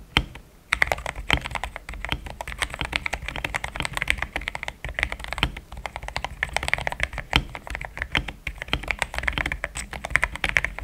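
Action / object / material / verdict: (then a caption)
tap / mechanical keyboard with plastic keycaps / plastic / none. A pink-framed compact mechanical keyboard with a hollow case, polycarbonate plate, linear switches and thick cream XDA plastic keycaps is typed on with fingertips in steady taps. Continuous, fast clacky keystrokes follow a brief quiet start, with short dry clicks centered around 2 kHz over a low thock.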